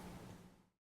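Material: Nothing is struck.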